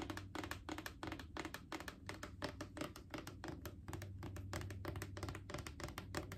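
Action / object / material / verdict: tap / plastic wipes canister / plastic / none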